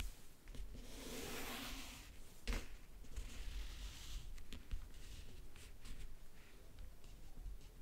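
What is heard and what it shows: A single fingernail slowly traces and scratches over the lid of a closed, hollow backgammon case covered in map-print faux leather. It makes a quiet, breathy rasp with a soft low rumble beneath, swelling and fading as the nail moves. A few sharper clicks cut through, the strongest near the middle.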